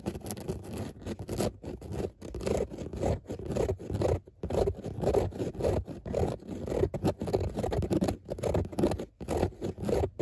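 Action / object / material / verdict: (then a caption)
scrape / fabric car seat upholstery / fabric / none. Long nail tips scratch and pick at the raised dots of a grey dotted fabric car seat. The result is a steady stream of dry, close-up scraping and scratching strokes, weighted toward the low and middle range, with short gaps between bursts.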